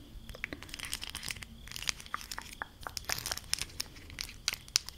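A stack of small, hollow, textured plastic highlighter caps in blue, yellow and green is tapped and scratched with long acrylic nails. The result is a dense, bright run of crisp clicks and scratchy crinkling rustles with sharp, quickly fading taps.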